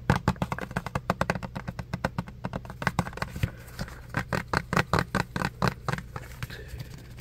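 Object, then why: Plastic soap pump bottle. Fingertips rapidly tap a small clear plastic pump soap bottle held close, making about 39 short, dry clicks in quick runs with brief pauses. Each tap dies away almost at once over a steady low hum.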